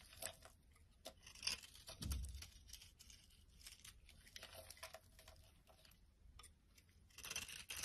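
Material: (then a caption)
Soap. A utility knife blade scrapes and crumbles the surface of a solid, dry orange soap bar held in the hand. Bright, dry scraping and crackly crumbling come in irregular bursts, with a dull low thump near the two-second mark and a louder flurry of scraping at the end.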